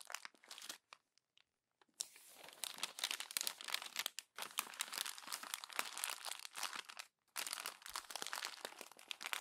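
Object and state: Glossy paper magazine being crumpled.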